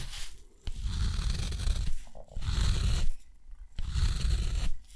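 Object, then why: Steel dip pen nib on thick textured cotton paper. A steel dip pen nib scratches repeated long parallel strokes across rough, thick textured cotton paper. Four separate bursts of low, grainy scraping are heard, with a faint bright hiss on top and short quiet pauses between the strokes.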